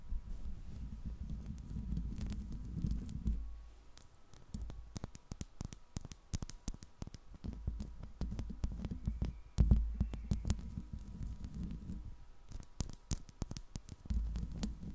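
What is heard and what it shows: Long pink nails on both hands tap and scratch the hollow metal mesh grille of a silver Blue Yeti microphone. A steady stream of quick, dry clicks sits over a heavy, low, throbbing rumble, with brief pauses and a few louder knocks. The sound stays close and muffled, with almost nothing bright.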